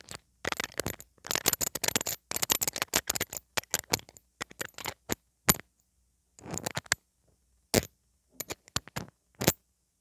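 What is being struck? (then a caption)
Small domed metal mesh microphone grille tapped with metal tweezers. Metal tweezers held in the fingers tap and scratch the small, hollow, domed metal mesh grille of a pink metal mini microphone. The result is a fast run of sharp, bright metallic clicks and scrapes with very short ring, some in dense bursts and some isolated, separated by silences.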